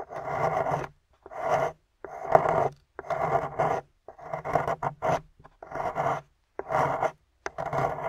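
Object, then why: Painted plaster bar scraped with a metal pick. A metal pick scrapes out a hollowed cavity in a solid gold-painted plaster excavation bar, heard close up. Short rasping, gritty strokes repeat at an uneven pace of about one per second, separated by brief silences, with a mid-range scratchy texture.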